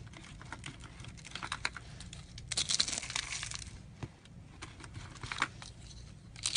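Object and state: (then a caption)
Brittle dried soap curls. Thin, hollow, brittle light-green dried soap tubes rolled into curls on a tray are pressed and crushed with the fingertips and a fist. Dense, bright crackling and crunching fills the clip, with quick dry snaps throughout. Louder bursts of crunching come in the middle and again at the end.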